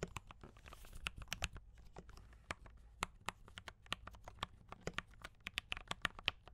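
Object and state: Mechanical keyboard with plastic keycaps.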